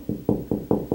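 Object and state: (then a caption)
Hollow drywall between studs. Five knocks on closet drywall between studs give hollow, low thuds centered around 300 Hz, each fading within a fraction of a second. The hollow sound shows there is no stud behind that spot.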